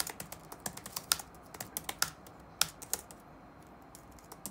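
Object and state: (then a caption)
Plastic laptop keyboard being typed on. Fingertips type on the black plastic keycaps of a dark laptop resting on a wooden desk. About 17 short, bright, dry key taps come at an uneven pace, with a few noticeably louder clicks standing out among softer ones.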